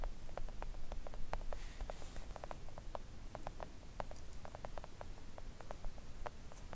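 Long acrylic nails tap quickly on a flat pink silicone nail art mat lying on a table. The taps are soft, short clicks in a fast, uneven patter over a low, steady rumble, each dying away almost instantly.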